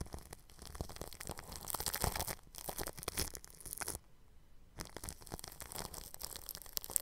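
A bristle paintbrush rubs the grille of a round microphone wrapped in clear plastic cling film. It makes crinkly, scratchy brushing strokes with bright hiss and soft low thumps. The strokes stop for a brief near-silent pause partway through, then resume.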